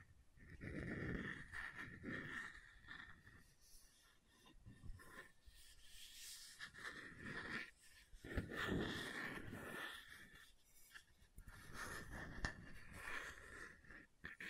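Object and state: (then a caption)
Metal water bottle lid. Long nails tap and scratch the lid top of a hollow red insulated metal water bottle (tumbler) held in one hand. Quiet, irregular taps and rasping scratches rise and fall over a faint, steady ring near 1.8 kHz, with soft low thumps underneath.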